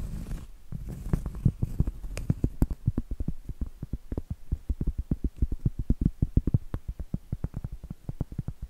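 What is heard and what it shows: Medium acrylic nails tap and scratch the face of a round, flat, solid cork trivet. A brief rough scratch at the start gives way to a long, rapid run of dull, muted taps that are mostly low and die out almost instantly, with little brightness and no ring.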